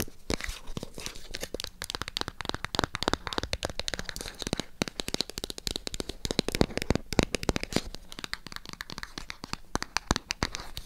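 Long acrylic nails tap and scratch the faces and edges of a small, hollow white cardboard MyGel packaging box. The result is a dense, rapid stream of dry, crisp clicks and papery scratches with bright highs and a hollow low thump. The sound has no ring.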